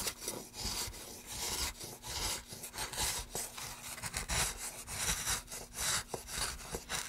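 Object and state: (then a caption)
Wooden plank scraped with a gouge. A gloved hand pushes a gouge along the groove of a solid, light wooden plank in long scraping strokes. Each stroke makes a bright, rasping scrape that swells and fades, over a faint steady low hum.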